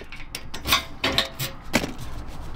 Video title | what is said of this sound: VAN THEFT! Big UPGRADE for Van Security (YOU NEED THIS) | no movement in that or noise rattling when you're driving